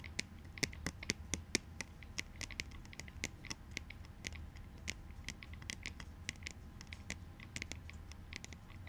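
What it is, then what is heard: Plastic goggles tapped. Rapid, light fingertip-style taps patter across plastic clout goggles in black and white, each tap a short, dry, bright click with almost no ring. The taps come in an uneven, continuous stream over a faint low hum.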